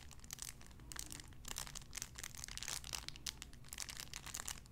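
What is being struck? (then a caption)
Thin cellophane wrapper. A clear cellophane wrapper around a small sun-shaped figure is crinkled with the fingertips. It gives quiet, dense bursts of bright, crackling crinkles over a steady low hum.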